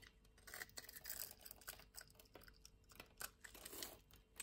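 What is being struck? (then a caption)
Soap bar scraped with a metal blade. A metal utility-knife blade scores and scrapes the surface of a small, solid, green rectangular soap bar held in the hand, shaving it into flakes and curls. Quiet, bright, crisp scratching and crackling comes in short, irregular strokes with a faint papery crunch and no ring after each scrape.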